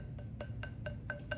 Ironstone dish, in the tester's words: it's the same one, just bigger though, so it's kind of weird. Hear that? No ring at all.